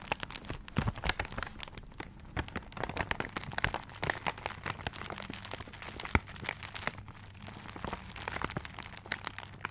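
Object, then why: Gift wrapped in paper. A paper-wrapped gift is held close to the microphone while fingertips and nails scratch and crinkle its wrapping paper. Dense, dry crackles and sharp ticks come in steady bursts, with short scratchy swipes between them. A faint low hum runs underneath throughout.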